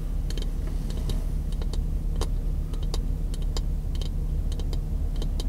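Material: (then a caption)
Wood. Fingertips, some wrapped in white tape, tap quickly along the face of a solid, light-colored wooden block about 20 cm long held in one hand. Short, bright, dry clicks come in an uneven patter over a steady low hum that dominates the level.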